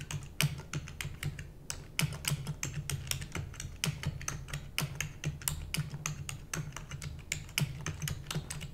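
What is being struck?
Plastic computer keyboard.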